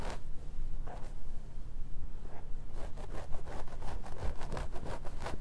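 Fingertips and short nails on both hands scratch the hairline and scalp of a plastic or vinyl mannequin head with a black synthetic wig, lying on red satin. Soft, scratchy rustling strokes sit over a steady low rumble, slow at first and then quickening into a run of rapid, crisp scratches toward the end.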